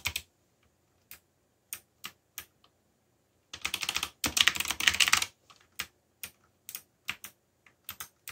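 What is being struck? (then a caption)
Plastic mechanical keyboard. Fingertips type on a backlit black plastic mechanical keyboard, giving sharp, bright key clicks. Scattered single presses and short pairs surround a dense, rapid burst of fast typing in the middle, and each click stops almost instantly.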